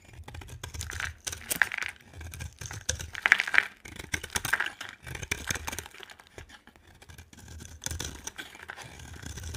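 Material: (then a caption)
Soap. A utility knife scrapes and carves shavings off the top of a solid, dry yellow-and-white bar of soap. The sound is a run of short, dry, crackly scrapes and crisp cuts with bright, gritty texture. Bursts of sharper scraping come in between quieter stretches, and a low rumble sits underneath.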